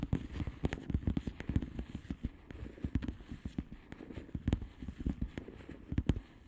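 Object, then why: Plastic bubble wrap padded envelope. Long manicured nails of both hands tap rapidly on the plastic bubble wrap surface of a flat padded mailer, pressing on its hollow air bubbles. The result is a quick, uneven patter of soft, dull clicks and crackles, mostly low and thumpy, with brief sharp transients that die away almost instantly.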